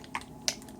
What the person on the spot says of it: There's a little rattler in there